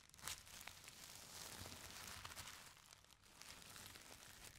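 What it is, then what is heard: Tissue paper crinkling. Hands lift, fold and crinkle the top sheets of a stack of thin purple tissue paper. The result is a soft, continuous crinkling and rustling that is bright and papery, with a sharper crackle near the start and a brief quieter dip before the crinkling resumes.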